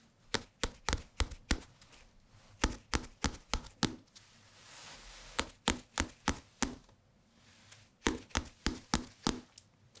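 A small, thick hardcover paper book with a glossy photo cover, solid and held in both hands close to the microphones, is tapped on its cover and edges with fingertips. About 25 short, dry, knocking taps come in quick clusters, with a soft hiss swelling in the pause near the middle. Each tap is sharp and bright and dies away almost instantly.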